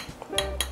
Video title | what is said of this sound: 價差百倍的木炭大對決! 中秋烤肉不能少的木炭知識！揭秘各種木炭的優缺點，讓你的燒烤更美味！ | when I knock it, the sound is so weird. What's interesting is that it's quite hard to break.